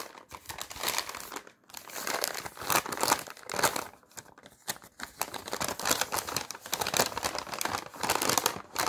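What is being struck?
Thin paper sheet.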